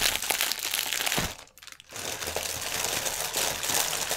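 A strip of inflated, hollow, air-filled clear polyethylene air cushions lies on a table while both hands scratch and tap the film with their nails. Dense, bright crinkling and crackling fill the clip, dropping to near silence for about half a second midway before resuming just as steadily.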